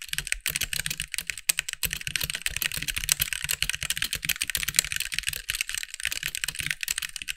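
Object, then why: Mechanical keyboard with plastic keycaps. Fingertips of both hands type steadily on a compact backlit mechanical keyboard with white plastic keycaps. The result is a fast, continuous stream of short, dry, bright clacks, each with a soft low thump beneath, dying away almost instantly.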